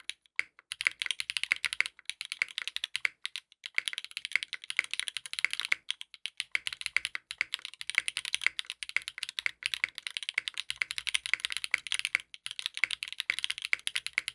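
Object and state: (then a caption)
Mechanical keyboard with plastic keycaps. A compact 60% mechanical keyboard with a dark purple case, purple ABS plastic keycaps and a polycarbonate plate, resting on a desk mat, is typed on continuously with the fingertips of both hands. The result is a dense, steady stream of short, dry, bright clacks with almost no low end and no ring, the keystrokes arriving in quick bursts with brief pauses between them.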